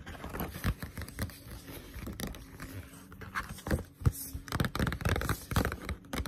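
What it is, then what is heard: Paperback book (paper). Long pointed nails tap fast on a Blue Exorcist paperback manga lying flat, a solid paper book with a glossy cover. The taps are quick, dull and low with short scratchy clicks, each dying away almost at once. They come in an uneven, pattering stream that grows louder and busier toward the end.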